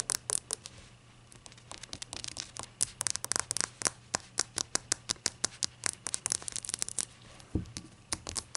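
A small, hollow, glossy-glazed ceramic shot glass, held in the hands, is rubbed and tapped with long acrylic nails. About 35 sharp, bright clicks with very short ring ride over a faint scratchy rubbing. A single duller low knock comes near the end.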